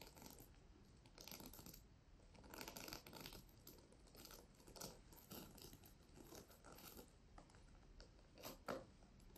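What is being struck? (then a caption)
Fabric pouch covered in plastic sequins. A medium flat pouch covered in pink reversible plastic sequins on fabric is held close to a microphone and scratched and brushed with long nails and fingertips, flipping the sequins. The result is a soft, continuous bright rustle of tiny clicking, scraping sequin flips. It swells into louder crackly bursts throughout, with the sharpest flurry near the end.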